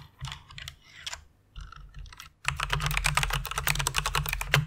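Both hands with long red nails type with their fingertips on a full-size white plastic mechanical keyboard with RGB backlight, resting on a pink fluffy pad. Light, scattered key clacks for the first two seconds give way to a dense, fast run of bright, crisp clicks over a low, hollow thump.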